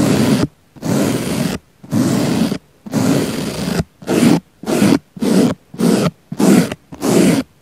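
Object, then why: Foam sponge brushed with a small brush. A small black brush with a thin handle brushes and pokes the centre of a round, palm-sized pink foam sponge that is solid and soft. Ten separate bursts of dense, rough scratching are heard, with a low, grunt-like body and a bright hiss. The first few strokes are longer, and the later ones are shorter and quicker, each stopping cleanly into silence.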